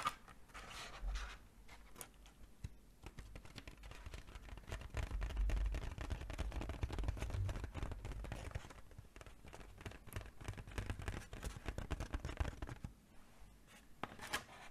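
A hollow, inflated silver mylar foil balloon shaped like a sheep is held in both hands and tapped with long painted nails. Rapid, uneven taps and light crinkly scratches overlap in a dense stream with a dull, low, drum-like body and brief bright ticks. The taps swell louder in the middle and ease off near the end.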